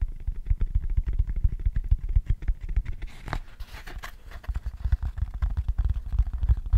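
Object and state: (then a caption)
Cork tray tapped with fingertips. A long, hollow cork tray is turned in the hands while fingertips tap the cork inside and underside. The result is a rapid run of dull, low, muffled thumps with almost no ring, easing into a quieter, brighter rustling stretch midway before the tapping picks back up.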